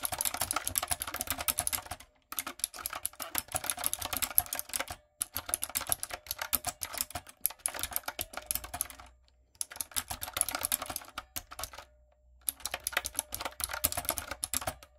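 Fingertips and long acrylic nails type on a light-up, typewriter-style plastic mechanical keyboard with round plastic keycaps. Quick, bright clacking runs in bursts of rapid keystrokes, with short silent pauses between them.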